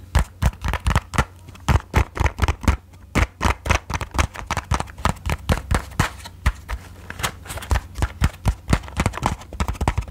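Long nails tap rapidly on the printed faces of a small, closed, rectangular cardboard matchbox held close to the mic. The taps come in quick, uneven bursts of short, dry clicks with a hollow, low thump and bright tips, each dying away almost at once. A steady low hum sits underneath throughout.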